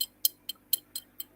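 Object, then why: Natural gold nuggets. Large natural gold nuggets are tapped together six times. Each tap makes a bright, high-pitched clink that dies away almost at once.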